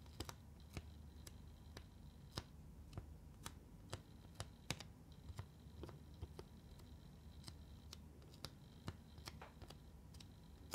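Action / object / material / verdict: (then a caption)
tap / plastic eyeshadow palette / plastic / none. Long nails tap on the pigment pans and case of a flat black plastic eyeshadow palette of neon pans, held close. The result is a steady series of quiet, sharp, dry clicks with almost no ring, over a low, constant background hum.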